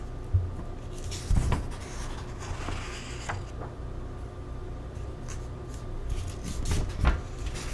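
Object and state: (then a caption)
Paper cookbook pages being turned. Fingertips pinch the corner of a paper page in an open paperback vegan cookbook and slowly turn it, up close. Soft, papery rustles and faint crinkles sit over a steady low rumble, with a few gentle thumps as the page lifts and settles.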